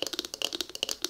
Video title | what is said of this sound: ASMR * Wood Xylophone Tapping/Scratching * Fast Tapping/Scratching * Soft Spoken * ASMRVilla | they are carved out and hollowed you can hear they make such a great sound when you're tapping on them